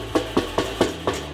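Five knocks on the enameled steel lid of an Expert Grill 22-inch kettle grill, struck to show how thick its metal is compared with a Weber kettle. Each knock is a short, dull thud centered in the low-mids around 355 Hz that dies away quickly over a faint low hum. The lid is definitely thicker than the Weber's and also feels heavier.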